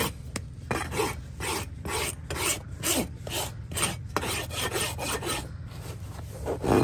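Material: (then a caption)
Keratin horn. A large flat steel rasp is pushed in long strokes across the sole and wall of a freshly trimmed horse hoof of solid keratin horn, held between leather-chapped knees. Eleven dry, scratchy rasping strokes sound in steady rhythm, each a gritty broadband scrape with a bright edge, over a low background hum.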